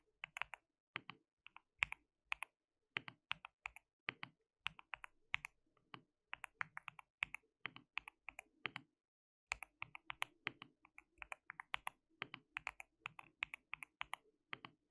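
Fingertips of both hands type continuously on a white mechanical keyboard with plastic keycaps. The result is a steady stream of quiet, sharp, bright clicks that die away almost instantly, centered around 2.5 kHz, with a brief pause near the nine-second mark before the typing resumes.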